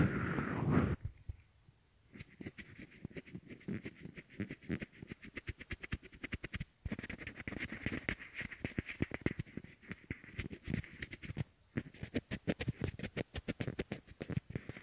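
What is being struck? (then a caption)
Small hollow plastic earbuds. A pair of small white hollow plastic Apple EarPods, used as the left and right microphones and lying on a wooden table, are both held between fingertips and rubbed at once. After a brief muffled, boomy opening, dozens of fast, close scratchy rubs and clicks rattle on in rapid bursts. The bursts are broken by short pauses, with a low body and a bright crackly edge.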